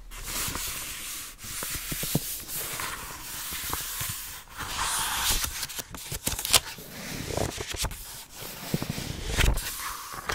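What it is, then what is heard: Paperback book pages being rubbed. An open paperback book with cream paper pages is held close to the mic while a palm and fingertips rub and brush across the open pages. The result is a continuous dry, papery swishing with bright hiss and scattered small crackles and taps.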